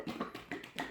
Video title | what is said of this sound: Glaze Demo for Students | if you do not hear the glaze moving you want to shake it even harder or you want to make sure that it's not empty